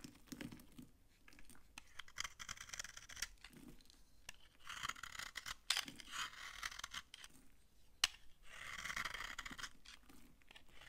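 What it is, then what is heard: Dry soap bar. A utility knife scrapes dry curls off a solid, old yellow bar of soap held in the hand. The result is a run of quiet, crunchy, bright scraping strokes with small dry cracks.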